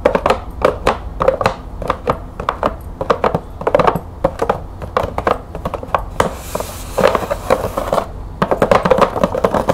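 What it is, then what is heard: Cardboard box with plastic window. Long nails tap quickly on a green cardboard bulb box with a clear plastic window over its compartments and bulbs inside, making dry, clicky taps with a hollow knock around 530 Hz. Midway the taps give way to a brief, bright, crinkly scratching on the plastic before the fast tapping resumes.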